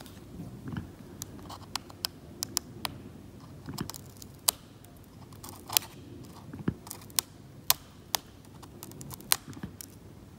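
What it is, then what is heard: Oil painting being scraped with a scalpel. A metal scalpel blade, held in fingers, scrapes along a white card edge across the flat, cracked varnished oil paint layer of a painting on canvas, where the paint is partly lifted to a blue-grey ground. A soft, steady low scraping hiss runs throughout, broken by about eighteen sharp, bright ticks that cut off almost instantly.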